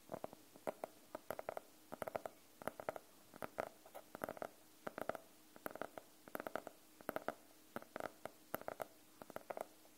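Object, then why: Faux-leather hardcover notebook. A fingernail taps on the cover of a closed navy faux-leather hardcover notebook, briefly held low behind the mic. The quiet, dry taps come in quick irregular clusters, each a short, hollow knock centred around the mid range near 645 Hz with almost no ring and faint bright clicks on top.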